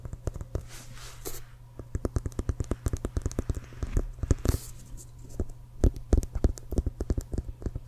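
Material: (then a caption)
Leather. Fingertips and nails tap rapidly on the CFL logo side of an inflated, hollow leather American football held horizontally. Quick, dry taps alternate with occasional scratchy brushes, each giving a short, hollow low thud with sharp bright clicks and almost no ring, over a steady low hum.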